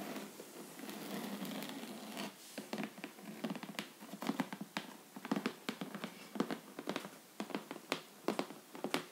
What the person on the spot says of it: ASMR tapping and scratching vinyl box set with raised texture